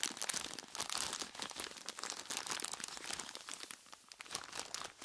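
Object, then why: Plastic bag full of ice cubes. A large clear plastic bag full of ice cubes is squeezed and scratched by hands in skeleton-claw gloves with long tips. A dense, bright crinkling and crunching continues throughout, with short sharp crackles and almost no low end.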